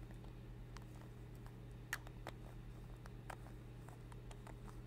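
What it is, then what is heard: Metal lipstick case. A small, hollow, capped rose-gold metal lipstick tube is held in both hands in front of a fluffy microphone and tapped with long red acrylic nails. Light, quick clicking taps sound over a steady low hum, with a few taps standing out louder.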